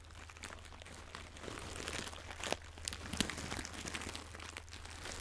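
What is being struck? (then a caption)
Small fabric pouch with crinkly filling. A small floral fabric pouch with crinkly filling is squeezed and rubbed with fingers and long nails close to the microphone. Soft, dense crinkling and crunching fill the clip, with a few sharper bright crackles, over a steady low hum.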